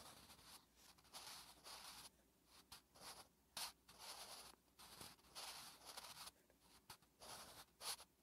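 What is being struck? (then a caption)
Graphite pencil on a paper notebook page. A wooden graphite pencil held in the fingertips writes Korean letters on a thin lined paper notebook page resting on a flat surface. The graphite scratches across the paper in short, bright, irregular strokes separated by brief pauses, with occasional sharper ticks.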